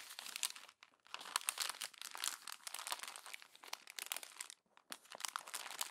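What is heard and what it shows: Fingers with long nails crumple the thin pages of a glossy paper magazine. The result is a dense, bright crackling and crinkling with no low end, broken by two short pauses near 1 and 4.7 seconds.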